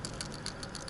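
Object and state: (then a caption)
PCV valve moving freely. A PCV valve for a 2011 Toyota Camry Hybrid 2.4L 4-cylinder is shaken by hand, its internal plunger rattling freely up and down in a quick series of light clicks. The sharp ticks ride over a low background hum, showing the valve opens and closes freely and is working normally, unlike the clogged one.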